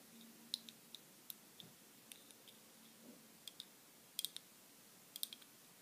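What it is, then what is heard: Foil-wrapped ball. Long glittery acrylic nails tap and scratch a small round ball wrapped in crinkled silver aluminium foil, held in the fingers. About thirteen sharp, bright clicks and crinkles ring out at irregular intervals, some in quick clusters, each dying almost instantly over a quiet, low background.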